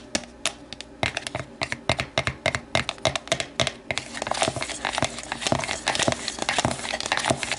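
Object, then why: Thin plastic container. An empty, hollow, translucent plastic deli container stands upright while a hand inside taps and scratches its inner walls and long nails tap the outside. Quick, bright, crackly clicks come in an irregular stream over a faint hiss, each dying away almost instantly. Partway through, the scratching thickens into a denser, louder crinkling bed under the taps.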